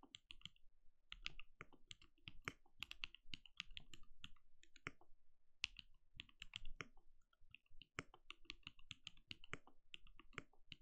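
Fingertips of both hands type rapidly on a compact, backlit mechanical keyboard with plastic keycaps and a translucent glowing case. The result is a quick, uneven stream of crisp key clicks with a bright clack near 2.7 kHz over a low, soft thud. Each tap dies away almost instantly.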